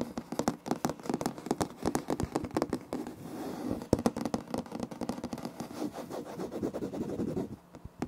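Fingertips and short nails scratch and tap close to the recorder on a solid, light wood-grain laminate floor with a plank seam. Rapid, dry taps mix with scratchy scraping, with a warm low-mid body, very short ring, and a softer continuous scratching stretch midway. The clip fades to near quiet at the end.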